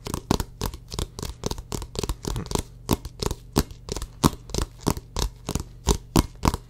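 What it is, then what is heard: Rubber basketball tapped and scratched. Fingertips and short nails rapidly tap and scratch the pebbled rubber surface of a full-size orange Wilson basketball, hollow and inflated, held right against the microphone. About 25 quick, irregular strikes are heard, each a short dry burst of bright scratchy texture over a low, hollow thump. A faint steady low hum runs underneath.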